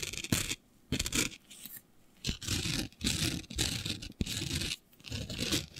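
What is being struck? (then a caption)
Glitter-covered fabric sheet. Long nails scratch a flat sheet of black fabric covered in fine green glitter, making bursts of bright, gritty scraping. The bursts are separated by short quiet gaps, and a few sharp ticks and low rubbing tones sit beneath the hiss.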